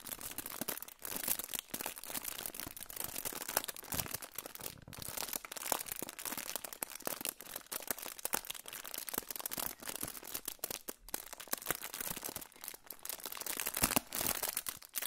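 A hand-sized, crinkled silver aluminium foil pouch is held up and crinkled with the fingers. The result is a continuous, quiet stream of dense, bright crackles and rustles with little low end, lasting the whole clip.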